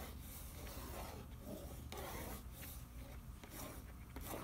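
Fingertips rub across the back of a printed cardboard macaroni and cheese box, over its nutrition facts panel, as it lies on newspaper. A quiet, steady rasping rub continues throughout, with a low rumble underneath and brief brighter swishes as the strokes change direction.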